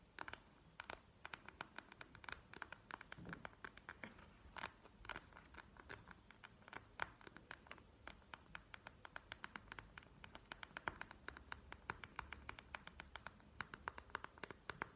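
Long nails scratch and tap across the surface of a plastic gel-bead eye mask lying flat on a table. Dozens of quick, dry clicks and ticks centered around 1.5 kHz, with bright edges, sound over a soft, continuous scratching rustle. Each hit dies away almost instantly, at a quiet level throughout.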